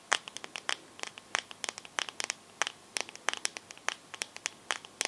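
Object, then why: Glass back of a smartphone. Long nails tap and scratch the back of a teal glass-backed smartphone held sideways, making about thirty quick, sharp, bright clicks with light scratchy textures. Each tap is dry and dies away almost instantly, with no low end.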